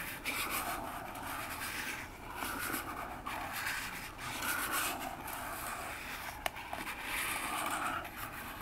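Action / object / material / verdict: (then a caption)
scrape / small cardboard box / cardboard / none. Long nails slowly scratch down the front face of a small, hollow orange cardboard box standing upright on a table. The result is a steady, bright, papery rasping that swells and fades in long strokes. A single sharp tick stands out near the end.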